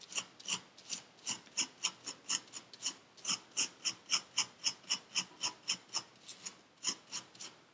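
A metal needle tool scrapes grooves into purple kinetic sand packed into a paper cup. It makes a quick run of about 28 short, bright, gritty rasps at a loose, steady rhythm of nearly four per second, each dying away at once with almost no low end.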